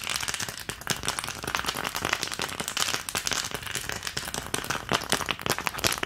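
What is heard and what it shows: Long nails tap rapidly across the cavities of an empty, long green plastic ice cube tray. The result is a dense, continuous stream of sharp, bright plastic clicks with a crackling texture and almost no ring after each tap.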